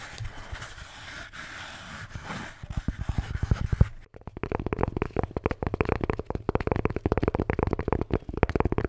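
A red Bintang beer can holder is scratched and then tapped. A soft, hissy scraping gives way to quick, dull, low taps with almost no ring, which pause briefly before returning as a dense, steady run of rapid tapping.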